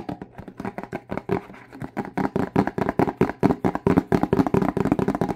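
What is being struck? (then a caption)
Plastic spray bottle with liquid. A partly filled Windex plastic spray bottle with a trigger head is held in both hands and tapped on its front label with fingertips and nails. About 31 quick, irregular taps sound as dull, hollow plastic knocks with a short, dry decay and no ringing.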